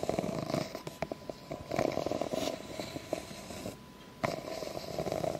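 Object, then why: Ribbed plastic cup. Long nails scratch slowly along the ridges of an empty, ribbed clear plastic cup, making a quiet, raspy, ratcheting scrape centered in the midrange, with small bright clicks as the nails catch each ridge. The scratching thins to near-silence for a moment, then resumes with a sharp catch and continues to the end over a faint steady tone.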